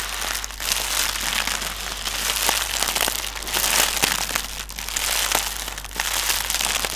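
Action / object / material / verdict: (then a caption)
scrape / inflated plastic air cushion strip / plastic film / none. A strip of connected, hollow, air-filled plastic air pillow packaging cushions lies on a table and is tapped and scratched with the fingertips of both hands. Bright, crinkly plastic rustling and soft crackling taps continue throughout, with the sound mostly in the high range. A steady low hum sits underneath.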